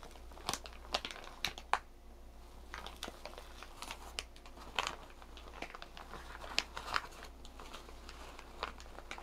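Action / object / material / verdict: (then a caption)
scrape / thin plastic shower cap / plastic / none. A green and white striped plastic shower cap with an elastic rim is stretched, crumpled and rubbed with fingers and nails. Soft, bright crinkling runs throughout, broken by sharper, irregular crackles over a steady low hum.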